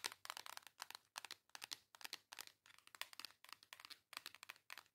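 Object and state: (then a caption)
Cardboard makeup palette. Long yellow acrylic nails tap and scratch the front cover of a flat, hand-sized pink cardboard eyeshadow and face palette, a WYCON Reef Cheeks in a thin case. The clip is a quiet stream of rapid clustered clicks and scratchy bursts that are bright and dry, with no low end and almost no ring after each touch.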